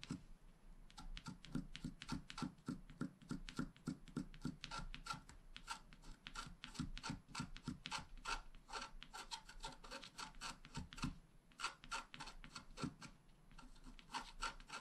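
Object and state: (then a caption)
Wax-coated scratch art card. A wooden stylus scratches repeated vertical grass strokes into the coating of a flat black wax-coated scratch art card. The result is a fast, uneven run of short, dry, bright scratches with a soft rasping hiss, pausing briefly near the 11-second mark before the strokes resume.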